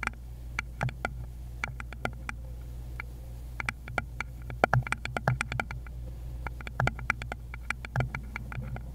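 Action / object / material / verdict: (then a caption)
tap / small wooden bowl / wood / none. A small, rounded, likely hollow wooden bowl is tapped rapidly with long pointed nails on a gloved hand. It makes quick, dry, bright clicks in irregular bursts over a steady low hum. Each tap dies away almost instantly.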